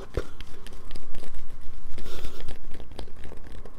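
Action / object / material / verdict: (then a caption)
scrape / bar of soap scratched with fingernails / soap / none. Long nails scratch a solid light-blue bar of soap, leaving shavings on a paper towel. Roughly fifteen quick, uneven scraping strokes come in a steady run, each a short dry crackle with a bright, gritty edge and almost no ring.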